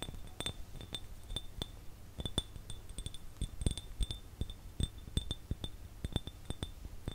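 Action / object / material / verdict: tap / glass jar / glass / none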